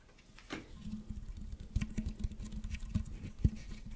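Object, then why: Corrugated plastic tube. Fingertips scratch the ribs of a hollow pink corrugated plastic tube, held upright and then bent into an arch. Soft, quiet patter and scratchy ticks come through, mostly low and dull, over a faint steady hum, with a few sharper clicks standing out near the middle and end.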